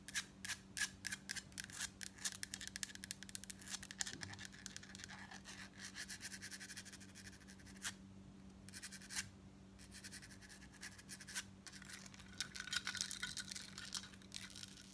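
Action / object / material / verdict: tap / thin embossed metal necklace plate / metal / none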